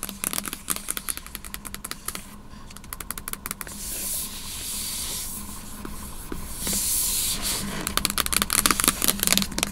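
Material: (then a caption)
Aluminum. Long nails tap rapidly on the flat, solid aluminum lid of a closed MacBook Pro sitting in its open box, giving a quick, irregular run of short, dry clicks with a bright edge. In the middle, the nails switch to scratching across the lid, making a steady, hissy rasp that swells twice, before the fast tapping returns at the end.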